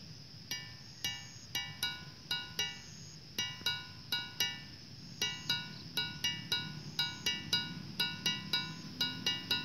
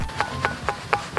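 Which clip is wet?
The second.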